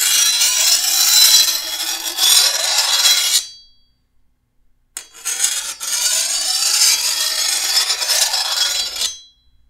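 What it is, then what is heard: Steel machete blade being filed. A hand-held steel file is drawn along the edge of a long, thin, solid steel machete blade. Two long filing passes, separated by a short pause, give a bright, hissing rasp that sits almost entirely in the high range with no low end.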